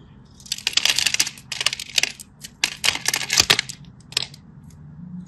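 A solid teal-and-white striped bar of soap, held in the hand, is scratched and cut with a craft knife, giving bursts of bright, crisp scraping and crackling. The dry, high-pitched scrapes come in quick clusters with brief pauses between them, then fade to a faint hiss at the end.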